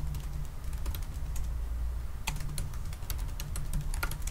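Fast fingertip typing on a silver aluminium laptop's black plastic keys, making quick, light clicking taps. A steady low hum sits under the taps throughout.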